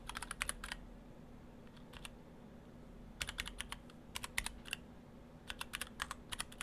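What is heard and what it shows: Fingertips of both hands type on an Orthodox Rev3.1 split ortholinear mechanical keyboard in two halves with clear acrylic cases, white and cyan PBT dye-sub keycaps and stock Gateron Brown switches. Three bursts of quick, sharp, bright keystroke clacks with very short decay are separated by brief pauses, over a faint low steady hum.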